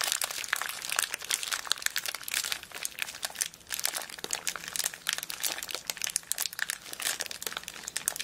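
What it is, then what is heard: Plastic zip bag of beads. A small clear plastic zip bag full of colourful beads is held upright and squeezed and crinkled with long black nails. The result is a steady stream of dense, bright crinkles and crackles, with a brief quieter stretch around the middle before the crinkling picks up again.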